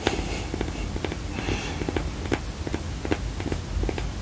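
A black, round, textured silicone coaster, solid and flat, is held in both hands and scratched and tapped with long painted nails. Soft, dull taps and clicks with a mid-pitched knock come through over a low, steady rumble, broken by brief hissing scratches.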